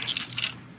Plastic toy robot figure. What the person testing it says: ça sonne comme un jouet pour bébé aussi, là. Mais le plastoc est vraiment très mince